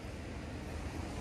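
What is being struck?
Nothing is struck.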